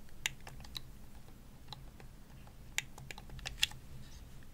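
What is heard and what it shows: Long nails tap a hollow purple plastic Xbox controller as it is turned to show its top and triggers. Short, bright, dry clicks land at an irregular pace, a few sharper than the rest, over a steady low hum.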